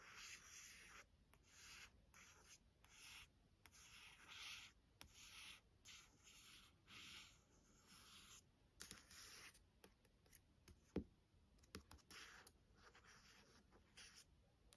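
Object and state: Glossy hardcover book cover.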